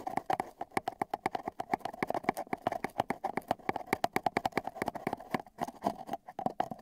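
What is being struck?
Cardboard tube tapped with metal tweezers.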